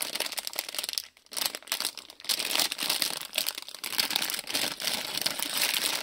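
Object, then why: Thin plastic-film bag holding small plastic bricks. A small printed plastic-film Lego City polybag with bricks inside is held in both hands while fingertips crinkle and squeeze the film. The result is a dense, bright crackling and rustling with little low end, broken by a brief near-silent pause just after the first second before the crinkling resumes steadily.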